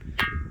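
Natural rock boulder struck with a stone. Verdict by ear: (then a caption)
Ringing. A natural rock boulder near Junnar is struck once with another rock. It gives a metallic, bell-like ring around 1.6 kHz instead of a dull stone knock, sounding like a hollow metal vessel, and the ring decays within about a quarter second over low background rumble.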